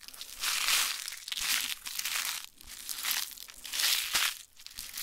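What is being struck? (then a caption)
Plastic-foil candy wrapper. A small, flat plastic-foil Magic Gum candy packet, apparently full, is held in both hands and crinkled and rubbed between the fingers and long nails. The result is a steady run of bright, crisp crinkling that swells in several bursts and carries almost no low end.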